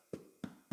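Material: Bread.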